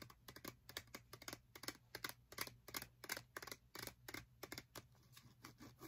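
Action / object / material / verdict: tap / plastic and paper blister pack of metal bobby pins / plastic / none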